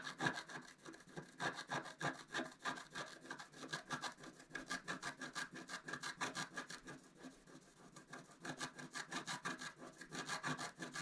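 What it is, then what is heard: Scratch-art card being scratched. A wooden stylus tip scratches away the black coating of a flat, wax-coated scratch-art paper card lying on a table, working around a squirrel motif. It makes quick, repeated dry scraping strokes with a bright, raspy texture, about three per second, easing briefly before picking back up.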